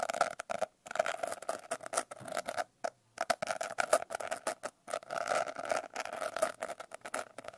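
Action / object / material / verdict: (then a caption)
scrape / glitter-covered paper notebook / paper / none. Long painted nails scratch and tap across the rough glitter surface of a blue glitter-covered paper notebook held upright. The result is a dry, rapid patter of crisp clicks and gritty scrapes centred around 600 Hz, with almost no low end and brief pauses between bursts.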